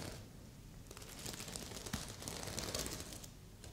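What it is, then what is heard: Sequin fabric pillow. A stuffed red sequin heart pillow has its sequin surface scratched and tapped by one hand's long nails. The result is a soft, irregular stream of bright crinkly rustles and faint ticks over a low background hum, rising slightly in the middle of the clip.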